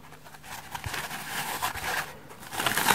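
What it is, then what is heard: Dry foam sponge. A dry, hand-sized, porous and soft rainbow-striped polyurethane foam bath sponge is held in one hand and scratched with long red-painted fingernails. The scratching makes a continuous dry, crinkling rasp, concentrated in the mid and high range. It grows louder and brighter toward the end.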